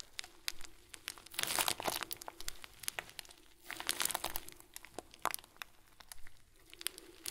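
Fingertips repeatedly squeeze the top of a round, hand-sized clear plastic bag full of small white plastic beads. The result is soft, bright crinkling with sharp little clicks and short rustling bursts, fading to quiet between squeezes.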